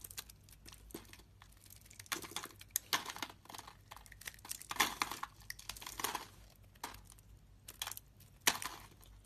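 A blade scrapes a solid green soap bar held in the palm, curling off thick shavings. Quiet, bright, crinkly scraping strokes come in irregular bursts separated by short pauses, with a few sharp ticks and little low end.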